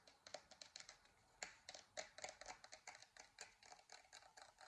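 Long dark-painted nails tap and scratch across the textured crater surface of a glowing, hollow 3D-printed plastic moon lamp about 15 cm across, held in both hands. About two dozen quick, bright clicks come at an uneven pace, mixed with soft scratchy rasps, each dying away almost at once.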